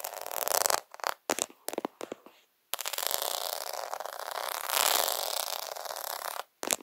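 Fingers press and scratch fast over a plastic half-pearl faux pearl sticker sheet placed over the camera, briefly covering the lens. Bright, hissy scratching starts in a dense burst, breaks into several short scrapes with quiet gaps, then runs as a long continuous rasp before a final short burst. There is no low end.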